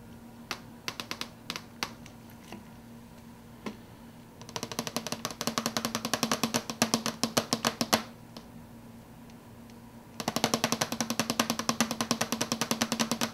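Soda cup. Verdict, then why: Empty. Fingers tap fast on an empty soda cup, producing short, bright, dry clicks with almost no ring. A few scattered taps open the clip, then two quick flurries of rapid tapping follow with a pause between them, over a steady low hum.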